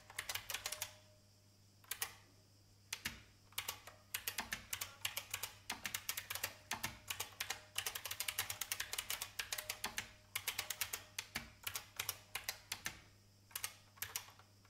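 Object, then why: Plastic mechanical computer keyboard. Fingertips with long painted nails type on an old beige IBM full-size plastic mechanical keyboard with a hollow case. Bright, sharp clicky taps come in quick bursts separated by brief pauses, each tap dying away almost instantly over a faint steady low hum.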